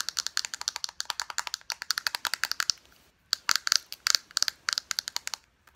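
Long nails tap quickly on a soft plastic lotion tube, striking both its body and its flat white cap end. About forty short, bright, clicky taps come in rapid runs with a brief pause near the middle, and each tap stops dead with no ring.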